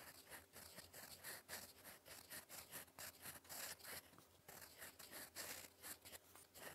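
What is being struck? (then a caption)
Metal fountain pen nib on a paper sheet. A gold metal fountain pen nib, held in the fingers, scratches across a flat sheet of lined cream writing paper while writing in cursive. The sound is a quiet, bright, dry scratching that comes in a quick series of short strokes with brief pauses between them, and little low end.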